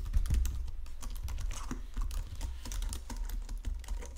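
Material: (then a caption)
Plastic. Fingertips type on a full-size white and silver plastic Logitech keyboard resting on a marble desk. Rapid, short key clicks tap out across the clip over a steady low hum.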